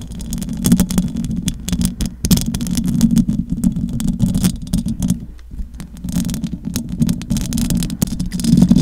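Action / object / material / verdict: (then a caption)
scrape / metal mesh microphone grille / metal mesh / none. Long acrylic nails on both hands scratch the metal mesh grille of a large silver condenser microphone. The result is a dense, continuous scraping rumble, heavy in the lows around 150–250 Hz, with rapid crackling bursts and a brief lull just past the midpoint.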